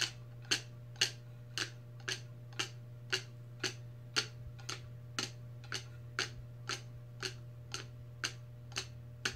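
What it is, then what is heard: Plastic tumbler lid tapped with nails. Long red acrylic nails tap the top of the clear plastic lid on a large insulated stainless steel tumbler standing on a placemat; the sound comes from the lid, not the metal body. Nineteen short, bright clicks repeat at a steady pace of about two per second, each dying away almost instantly over a constant low hum.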